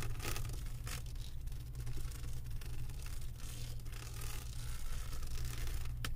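Long acrylic nails scratch across the resin drills of a flat diamond painting on a canvas board, making a continuous, irregular scratchy rustle with brief bright bursts. A steady low hum sits underneath throughout.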